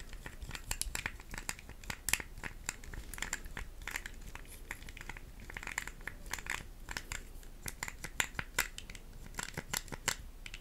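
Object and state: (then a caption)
Plastic puzzle cube. Long acrylic nails tap and scratch a small pink plastic puzzle cube held close to the mic. The result is a dense stream of quick, dry clicks and crinkly scratching with a bright edge, each tap cut off almost at once, under a faint low rumble.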